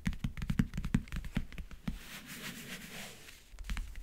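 Fingertips and nails tap, rub and scratch across the lid of a closed, hollow backgammon case with a map-print covering. Quick, irregular hollow taps with a low thud come first, then a soft, bright scratching hiss, then a few more taps at the end.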